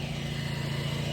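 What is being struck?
Nothing is struck.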